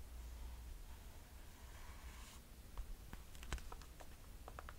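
A mint green mesh Nike running shoe with a white foam and rubber sole sits empty while long nails tap on its sole and mesh upper. A faint soft brushing in the first half gives way to a scattering of short, light, bright clicks over a low steady hum in a quiet setting.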